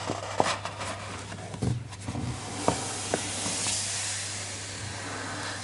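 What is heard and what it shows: Flat fingertips rub and trace over a paper page of an open hardcover children's picture book showing a street-scene spread. A soft, bright papery hiss runs throughout, broken by a few faint ticks and scrapes, over a steady low hum.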